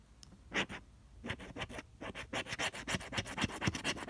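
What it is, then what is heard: Scratch-off lottery ticket being scraped. A flat cardstock scratch-off lottery ticket, no. 047, held by fingertips, has its coating scraped with a pink plastic scraper. Quick back-and-forth strokes make dry, bright, raspy scratching bursts that come faster and denser toward the end.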